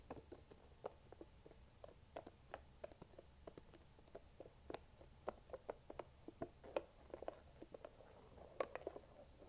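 Long nails tap and scratch the rim and sides of a small Chobani plastic yogurt cup, likely full. About thirty quiet, dry clicks with a hollow midrange tone arrive in an irregular stream, with soft scraping between them. Each click dies almost instantly and leaves no ring.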